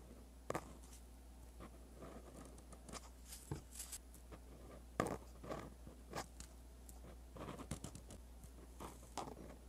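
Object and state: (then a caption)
Pen writing on lined paper. A dark-bodied pen with a metal tip scratches across a sheet of white lined paper lying flat while writing Korean script. Quiet, dry scratching strokes come in short bursts with crisp, bright edges and brief pauses between them, over a steady low hum.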